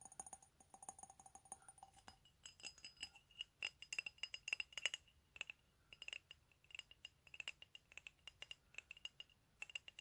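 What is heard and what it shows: A hand-held, hollow, empty medium white ceramic mug with "COFFEE" lettering is tapped with fingernails on its body and base. The taps come in quick, irregular runs of short, bright clinks that die away almost at once, with a ringing tone near 2.9 kHz. The opening taps sound lower, around 700 Hz.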